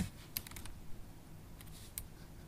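Long acrylic stiletto nails type on a MacBook Pro keyboard with black plastic keys in an aluminium body. Quiet, sharp, bright clicks and taps come in short clusters over a low, steady hum.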